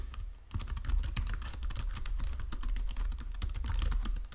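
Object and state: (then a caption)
Plastic computer keyboard being typed on. Fingertips and nails type rapidly on a white plastic Logitech keyboard resting on marble, producing a dense stream of short, bright key clicks and taps. A steady low rumble sits beneath the quick, crisp keystrokes throughout.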